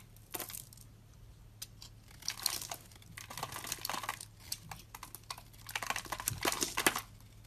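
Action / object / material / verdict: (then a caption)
scrape / bar of soap cut with a blade / soap / none. A utility knife blade scrapes and cuts a solid, hand-sized, rounded white soap bar that is dry and crumbly, shaving off flakes. Irregular bursts of crisp, bright crinkling and crunching scrape over a faint steady low hum, with louder clusters of cuts near the middle and the end.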